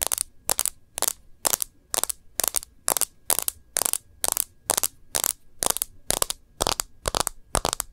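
Long nails tap the edges of a clear plastic phone case with a rose-gold rim and the glass screen of the smartphone inside it. The result is a steady run of sharp, dry, bright clicks in quick bursts, each stopping dead with no ring, over near silence.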